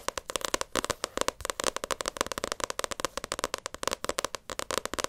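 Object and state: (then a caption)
Paperback book cover. Long acrylic nails tap rapidly on the glossy cover of a paperback Naruto manga volume. About 35 crisp, dry clicks come in a steady stream, each very short, bright and centered near 1 kHz, with almost no low end.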